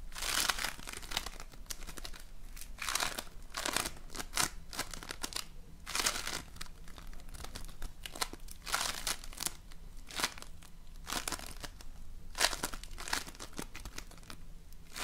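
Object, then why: Floam, polystyrene foam beads in slime. A rope of floam, polystyrene foam beads in slime, bent into a ring is squeezed and pressed with fingers. It makes repeated bright, crinkly crackling bursts that rise and fade over a faint, steady low hum.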